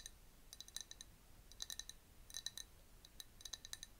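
Long nails tap quickly on a clear glass jar that is partly filled with liquid, with a bamboo straw inside, held close. The result is soft, bright clicks and tinks in scattered bursts, each dying away almost instantly over a faint hiss.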